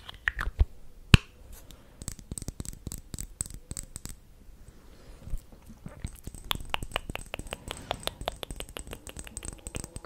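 Long painted nails tap on a small, full liquid-foundation bottle, apparently glass, with a black cap and beige contents, held up in both hands close to the microphone. The result is quick, irregular bursts of dry, bright clicks and light scratchy taps, with a few sharper, louder clicks early on and denser tapping in the second half.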